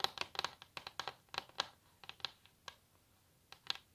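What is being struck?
Wooden table top tapped with fingernails.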